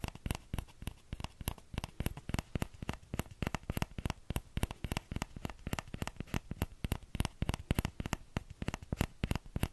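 Fingertips tap rapidly on the hollow bowl of a small orange plastic ladle in an uneven, continuous rhythm. Each tap is a short, dry tick with a low, soft thump, a bright click on top, and no ring afterward.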